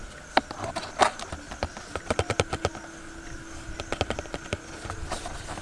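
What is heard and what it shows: Fingertips tap quickly on the face and side of a small, hollow, printed cardboard box for an infrared thermometer. About twenty light, dry taps come in irregular clusters, each with a hollow tone around 900 Hz that dies away almost at once. A faint steady hum sits underneath.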